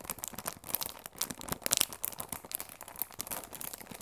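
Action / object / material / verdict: scrape / cardboard tea box wrapped in plastic film / plastic film / none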